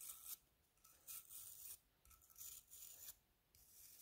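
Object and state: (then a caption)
Seashell scrubbed with a toothbrush. A plastic toothbrush scrubs the inner lip and striped outer surface of a hollow spiral seashell held in the hand. The sound is quiet, bright, scratchy bristle rasping that comes in irregular bursts with brief softer gaps between strokes.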